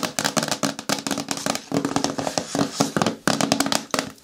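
Fingernails tap rapidly on a hard plastic container bin or bucket with a lid, making a fast run of short, dry clicks. The taps carry a low hollow tone and a bright edge, with brief pauses between bursts.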